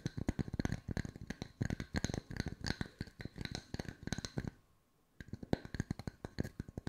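Wooden circles are tapped with the fingertips at mixed speeds, giving a rapid run of short, dry, hollow-sounding taps weighted toward the low end. Each tap dies away almost instantly. The tapping stops for about half a second, then picks up again at an uneven pace.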